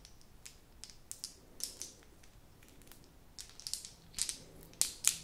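A blue plastic novelty pen is held upright while fingertips and long nails squeeze, tap and scratch its colourful plastic ball topper. About fifteen quiet, bright, crunchy clicks and scratches come at an uneven pace, each dying away almost instantly. The later clicks are louder.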